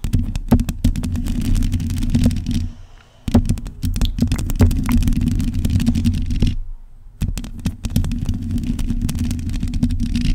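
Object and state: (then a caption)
Metal microphone grille scratched with nails. Long pointed acrylic nails on both hands scratch across a black metal mesh microphone grille. The result is a dense, rapid scratching with sharp clicks over a heavy, booming low rumble, broken by two brief near-silent pauses.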